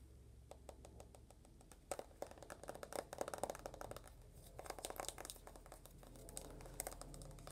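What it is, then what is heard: Smartphone tapped with fingernails. Long fingernails rapidly tap the glass screen of an uncased rose-gold iPhone, then its aluminum back. The result is a quick, dry run of sharp clicks with a bright ticking edge, each dying away almost instantly over a faint low hum.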